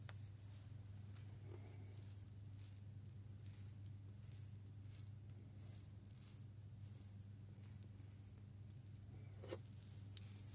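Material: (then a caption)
Glass. A labeled Moccona glass jar with a metal lid, holding coffee beans, is shaken by hand close to the microphone. Quiet, bright rattling and clicking of beans against the glass comes in scattered bursts over a steady low hum. A couple of slightly sharper knocks stand out near the middle and end.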